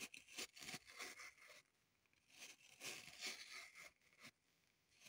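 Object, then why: Floral foam block. Long pointed nails scratch along the side of a dug-up green floral foam brick held in the hands, with crumbs on the table. Quiet, bright, dry scratching and crunching comes in short bursts with brief pauses, mostly high in pitch with almost no low end.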